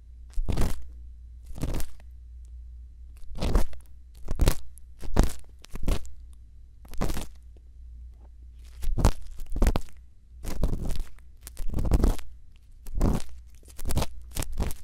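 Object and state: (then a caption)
Silicone ear microphone scratched with an earpick. A thin bamboo earpick, held in one hand, scratches inside the ear canal of a white silicone ear microphone. It makes a series of short, crunchy scraping bursts with quick pauses between them, reaching bright highs over a steady low hum.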